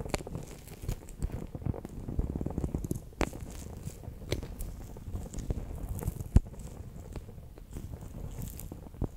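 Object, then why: PVC pouch filled with water beads. A bear-shaped clear PVC pouch packed with orange water beads is pressed and rolled with a fingertip and nail. Dense, soft, low squishing crackles and light taps run throughout, with a few sharper clicks standing out.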